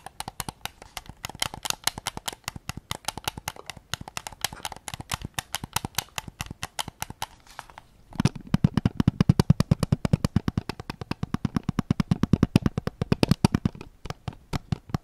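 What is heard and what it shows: Fingertips rapidly tap the back and grip of a white PS5 controller made of hollow plastic, producing a dense stream of short, dry clicks with very little ring. Just past the halfway point the taps grow louder and take on a fuller, hollow low thump beneath the bright clicking.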